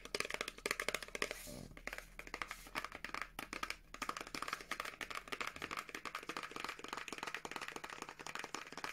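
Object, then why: Small paperboard product box with contents. Long nails tap rapidly on a small teal printed paperboard box for a Revolution Beauty moisture cream, with the product still inside. The result is a dense run of crisp, dry, bright clicks that die away almost instantly, with a brief smoother rasping stretch early on.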